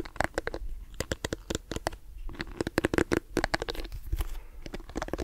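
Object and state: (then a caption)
Plastic hairbrush. Fingernails scratch and tap a lilac plastic detangling hairbrush held close to the microphone, working over its smooth glossy back and its bristles. Many rapid, sharp clicks and taps land on a low, hollow tone around 340 Hz, with bright broadband ticks. Softer scratchy rustling fills the gaps between them.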